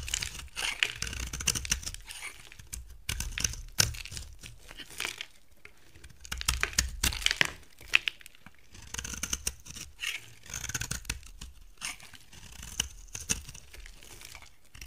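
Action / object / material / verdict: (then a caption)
scrape / bar soap / soap / none. A box cutter blade repeatedly shaves crumbly flakes from a solid, dry, brown bar of soap with a gold coating, held in the hand. Bursts of bright, crisp scraping and crunching come in quick clusters, each cut ending with no ring, and short quiet gaps fall between the passes.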